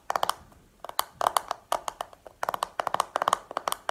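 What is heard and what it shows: A small round black hollow plastic makeup compact is held and tapped with long painted nails. The result is a quick, irregular run of sharp, dry clicks with a hollow mid-range tone, some in fast double and triple bursts, with almost no ring after each one.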